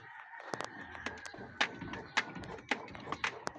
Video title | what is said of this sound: Suzuki engine transformers mahina ba talaga pang ilalim or mahinang piyesa ang binili nila alamin | wala nang uga, wala nang nagatak